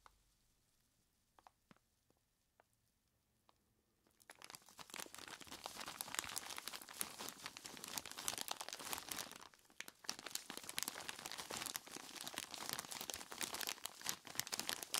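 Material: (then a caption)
Ice. After about four quiet seconds with a few faint ticks, hands in knobbly rubber monster gloves grab and squeeze a large clear plastic bag full of ice cubes. This sets off dense, bright crinkling and crunching that continues to the end, with only a brief lull near the ten-second mark.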